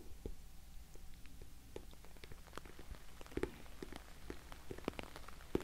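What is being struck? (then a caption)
Glossy vinyl cosmetic bag. Fingernails tap rapidly on an orange glossy patent vinyl cosmetic bag, making a scattered, rain-like patter of short, dry clicks. The taps are quiet and mostly low, with brief bright flicks and no ring.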